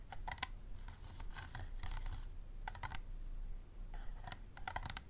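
Fingertips and nails rapidly tap the ribbed sides of a small, empty, hollow, clear plastic water bottle with a green cap standing on a table. The taps are quick, dry and clicky, falling in uneven bursts with a bright, hollow ring around 1 kHz over a steady low rumble.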